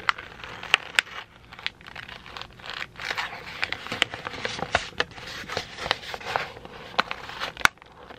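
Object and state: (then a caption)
Sheet of printer paper. A heavily wrinkled sheet of white printer paper is twisted, crumpled and pulled flat with both hands. Dense, dry crinkling and crackling fill the clip, broken by sharp, bright snaps as the paper is yanked taut. The sound sits mostly in the bright upper range, with almost no low end.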